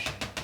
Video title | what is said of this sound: Green Sempertex 18" | just tapping it like this you can hear it that that balloon is tight